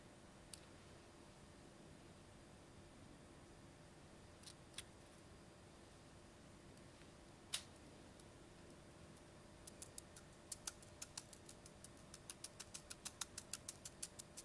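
A small, hollow, pink translucent plastic toy spring (slinky) is held in both hands with the fingertips and stretched, compressed and wobbled so its coils click against each other. A few sharp, bright clicks are spaced out over a quiet background at first. The last few seconds bring a quick, dense run of crisp ticking clicks.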